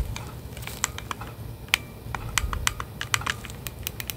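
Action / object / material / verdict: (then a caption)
tap / plastic game controller in a grip / plastic / none. Gloved fingertips click the buttons and tap the casing of plastic Nintendo Switch Joy-Con controllers set in a hollow plastic grip, held at the base of a microphone. A quick, irregular string of short, dry clicks and taps sounds bright and crisp, peaking around 2.3 kHz with almost no ring, over a faint low rumble.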